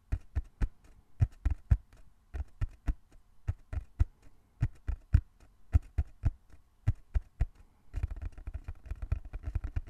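Fingertips tap slowly and rhythmically on a small, closed, hollow brown cardboard box held in both hands, giving dull, low thumps with almost no ring. The taps come in loose clusters, then turn faster and denser near the end.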